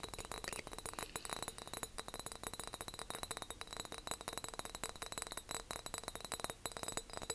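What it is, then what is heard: Glass jar. A big decorative glass jar is tapped and clinked in a rapid, continuous series. The sound is quiet, with bright, short glassy clicks and pings that die away almost instantly.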